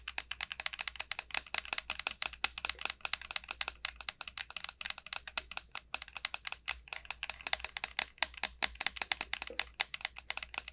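Long nails rapidly tap and scratch the hard, hollow shell of a large, elongated dried bottle gourd. Dozens of quick, crisp, bright clicks patter in an unbroken flurry, each dying away almost instantly. They sit over a faint, steady low hum and are heard at a quiet level.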